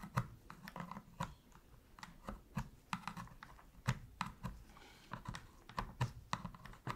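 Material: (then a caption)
Plastic. A thin metal pick scratches and taps around the face buttons of a black hollow plastic PS3 controller held in gloved hands, as it is cleaned. Quick, dry plastic clicks and short scrapes come in an irregular stream, with a hollow low thump behind the sharper ticks and almost no ring after each one.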